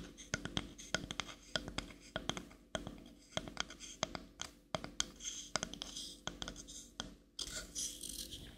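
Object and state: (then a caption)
Wooden paddle brush tapped and scratched. Long manicured nails tap and scratch the back of a small, light, solid wooden paddle-shaped brush held in one hand near the mic. The result is a busy run of sharp, dry clicks with very short ring, alternating with brighter scratchy swishes rich in high frequencies.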